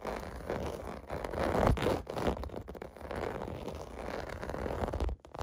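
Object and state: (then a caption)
Plastic bubble bath mat being scratched. Fingertips and nails scratch quickly across a clear blue plastic bath mat with raised bubble domes, lying on carpet. The result is a steady, dense scratching and crackling rustle, mostly low and mid in tone with little brightness, swelling briefly louder partway through before cutting off near the end.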